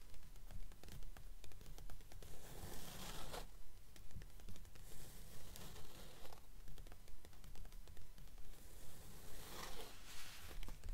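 Long nails tap and scratch the printed pages of an open blue paperback book lying on a table. The taps come in a steady, quick rhythm of soft, dull thumps, with brief bright, papery scratching swells in between.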